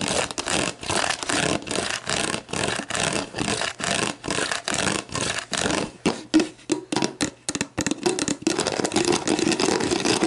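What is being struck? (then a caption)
Plastic drink bottle with paper label. Long black painted nails tap and scratch the paper-like label and ridged bottom of an empty, hollow clear plastic Gatorade Zero bottle lying on its side on a table. The result is a steady run of bright, crackly scratching bursts with quick taps that have a hollow plastic tone around 300 Hz and stop dead almost at once.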